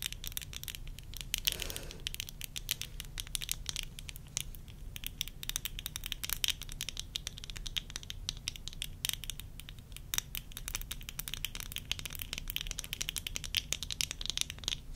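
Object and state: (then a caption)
Plastic eyeglasses frames tapped with nails. Long nails tap rapidly along the rims of worn tortoiseshell plastic eyeglasses near the nose bridge. A dense, continuous run of quick, dry, bright clicks centred around 3 kHz sits over a steady low hum, each tap dying away almost instantly.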